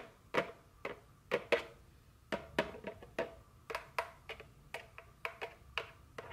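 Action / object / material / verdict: tap / small cardboard candy box / cardboard / none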